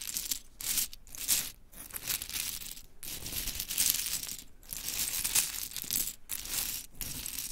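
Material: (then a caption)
Wood. Long chrome nails scoop, drop and rake through a pile of small pink mini wooden clothespins, which clatter onto fabric. The sound is a dense, bright, dry clicking and rattling that comes in bursts with short pauses between them.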